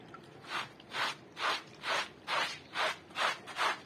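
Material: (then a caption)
Wool. A handheld bristle brush scrubs a small, flat, woven striped wool rug covered in foam while the other hand presses the rug flat. The scrub makes eight steady, evenly spaced wet rasping strokes, each a soft, bright swish of brush bristles on wet textile, with quiet pauses between.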